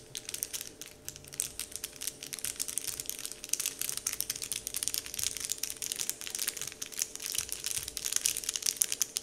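Fingertips of both hands press, crumple and scratch a large, flat, heart-shaped printed "Dove" wrapper sheet lying on a table. A dense, continuous stream of dry, bright crinkles and crackles runs for about nine seconds with almost no low end. Each tiny snap dies away instantly while the rustling holds a steady, gentle level.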